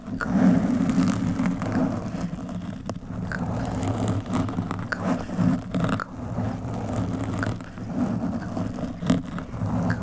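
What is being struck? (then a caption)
Foam microphone windscreen. Long metallic nails scratch the surface of a black foam windscreen on a microphone, using one or both hands. The result is a continuous, low, rumbling scrape that swells and fades, with occasional sharper scratchy accents.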